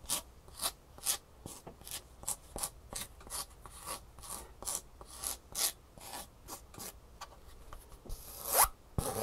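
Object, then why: Foam shoe insole with fabric top. Fingernails scratch and rub the textured fabric top and side edge of a green Superfeet foam shoe insole, a solid foam insole with a fabric top. A rapid series of short, dry, raspy strokes is heard, each bright and brushy with almost no ring, over a quiet background.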